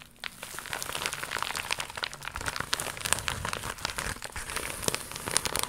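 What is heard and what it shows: An iridescent, crocodile-embossed holographic faux leather vinyl pouch is held in both hands and scratched and crinkled with long pink nails. Dense, bright crinkling and crackling continues throughout, with sharp scratchy clicks over a soft, steady rustle.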